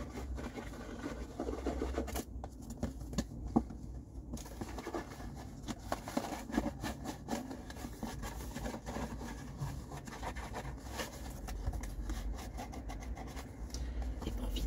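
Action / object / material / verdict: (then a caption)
scrape / cardboard tissue box / cardboard / none. Fingertips rub and scratch the surface of an empty, hollow blue cardboard tissue box held in the hands. A quiet, continuous papery scratching runs throughout, broken by small irregular taps and clicks over a steady low rumble.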